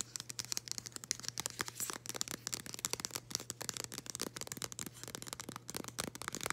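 Long green acrylic nail tips scratch a thin, flexible, flat floral-printed cardboard package with a round white label as it is held up. The result is a quick run of dry, bright scratching strokes, each one short with no ring, over a faint steady low hum.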